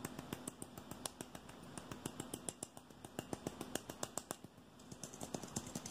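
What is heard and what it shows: A hand-sized, hollow red aluminium aerosol deodorant can is tapped quickly with fingertips and nails on its body and silver base. About 39 sharp, bright clicks come in a fast, uneven rhythm. Each one dies away almost instantly, over a steady low hum.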